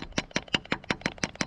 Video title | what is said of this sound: I Tapped My Maple Trees | lightly tap this in it'll make a different sound